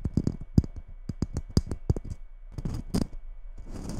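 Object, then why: Glitter-coated Christmas bauble. Long red nails tap and scratch the top of a red glitter-coated Christmas ball ornament sitting beside the mic. A quick run of short, dry clicking taps with low thumps is followed by rougher scratching passes that carry a bright, gritty hiss from the glitter.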